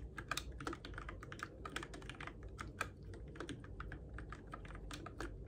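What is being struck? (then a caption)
Plastic mechanical keyboard keys. Fingertips steadily type on a Keychron K6 compact RGB-backlit mechanical keyboard with plastic keycaps on its switches, in the dark. The result is a quick, continuous run of short, sharp plastic clicks and clacks that die away almost instantly, over a faint low hum.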